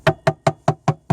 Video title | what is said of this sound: Grand Banks 42 Companion Way Repair | you can tap on it, you can see where the rot is, you can hear the rot